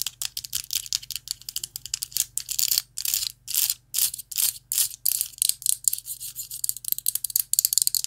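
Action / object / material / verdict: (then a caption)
tap / metal vape pen with glass tank / metal / none. Long nails tap and scratch a rainbow-anodized metal vape mod with a glass tank. Dozens of quick, dry clicks mix with short, hissy scrapes, almost all of it bright and high with no low end. Each sound stops almost at once, with no ringing.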